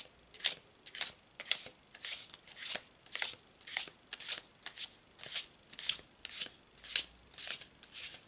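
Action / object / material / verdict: shake / laminated paper tarot card deck / paper / none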